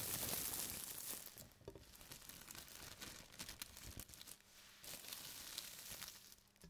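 The top layer of a thin white plastic carrier bag is lifted, then pressed and rubbed flat with the palms and fingertips. It opens with a loud, bright burst of crinkling, then settles into quieter, irregular crackles and rustles.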